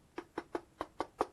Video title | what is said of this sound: UNBOXING KYOSHO PSYCHO CRUISER DE ZIGGY59 | ça résonne non ça fait cheap